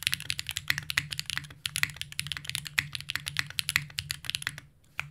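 Two hands type continuously with their fingertips on a compact green mechanical keyboard, a Unikorn R2.1 with plastic keycaps and an aluminum plate. The result is a rapid stream of short, bright, dry clacks. There is a brief pause near the end before a few more keystrokes.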